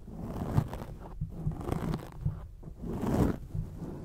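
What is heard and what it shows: Long acrylic nails on both hands scratch and tap a black foam windscreen on a microphone. The result is a close, muffled rustling with soft, dull taps that swells and fades in uneven bursts. The sound is mostly low and boomy, with almost no bright edge.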